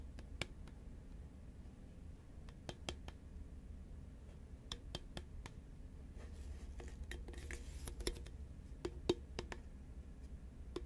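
Long manicured nails tap a tall green Pringles crisp can, a hollow composite cardboard tube with a plastic lid, held upright and tilted. Quiet, sharp, bright clicks with almost no ring sound irregularly over a low, steady background hum. A soft scratchy rustle rises briefly near the middle.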